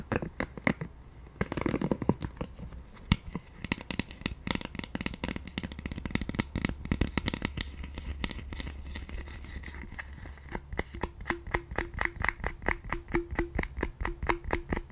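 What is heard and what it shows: Long nails tap and scratch the handle on the back side of a pink silicone scalp massager, making a rapid series of dry, sharp clicks mixed with scratchy rustling over a faint low hum. Toward the end the taps settle into a steady, even rhythm with a soft tonal ring.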